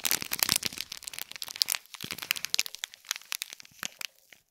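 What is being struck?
Small gift box wrapped in metallic foil film.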